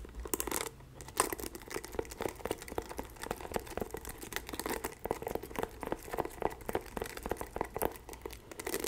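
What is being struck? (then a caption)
Plastic paddle hairbrush with bristle pad. Long acrylic nails scratch and rake through the black bristle pad of a pink and white plastic paddle hairbrush held in both hands. The result is a dense, continuous stream of quick, crackly scratches and ticks with a bright edge, over a faint steady low hum.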